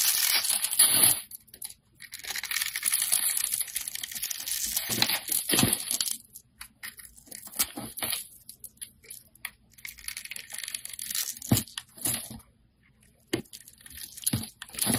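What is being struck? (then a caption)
Solid soap bar scraped with a metal blade. A metal blade scrapes curls and chips off a hand-held solid white soap bar. The sound is a bright, dry, tearing scrape in longer runs that break into short crunchy strokes with brief quiet gaps.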